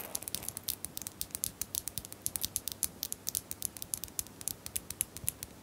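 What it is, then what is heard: Small plastic bottles. Small plastic bottles are tapped in a quick, uneven series of about 42 light, crisp clicks. The taps are bright and high-pitched and die away almost instantly, with a faint hiss beneath them.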